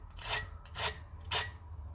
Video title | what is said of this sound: Crispy Homemade Hash Brown @HugoandDaddyCooking | you need to listen how crispy they are